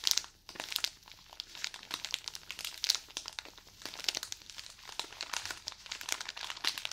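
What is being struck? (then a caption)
Cotton pad package in thin plastic wrap. A package of cotton pads in crinkly plastic wrap is squeezed and scratched with fingernails. The result is dense, bright crinkling and crackling made of many quick, sharp snaps, with almost nothing in the low end.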